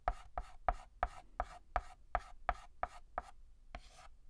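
Fingertips hold a white chalk stick and write letters on a flat, solid black chalkboard. Twelve quick, dry tapping strokes land in a steady rhythm, each with a short scratchy tail, and the last one stretches into a longer rasping scrape.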